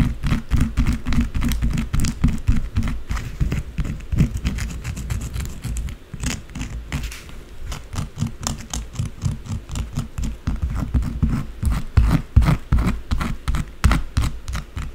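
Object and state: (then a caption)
Bar of soap. Long blue acrylic nails rapidly scratch and tap the top and edges of a solid white bar of soap resting on a dark surface, sending shavings falling. The sound is a fast, uneven stream of short, dry scrapes and taps, heavy in low-end thump with brief bright clicks on top. Each stroke dies away almost instantly.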